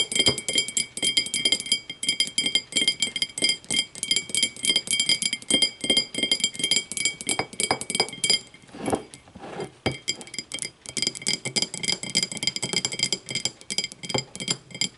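Long matte nails tap rapidly on the sides of a small, empty, clear glass whiskey tumbler with a thick base, standing upright on a wooden table. The taps make a dense run of bright, high clinks that ring only briefly, with a short softer stretch near the middle.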